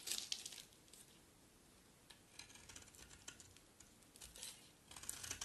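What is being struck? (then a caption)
Bar of soap scraped with a blade. A utility knife blade pressed flat against the face of a solid green, dry bar of soap scrapes off crumbly curls. The sound is a quiet, bright, dry crackling and crinkling scrape, with louder clusters of sharp ticks near the start and end and a softer rasp in between.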